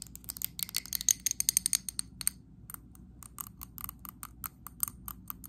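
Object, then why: Glass candle jar. Long acrylic nails tap and scratch the sides and rim of a medium glass candle jar filled with green wax. A fast run of sharp, bright clicks with almost no ring opens louder and denser. It then eases into softer, more spaced taps with faint scraping between them.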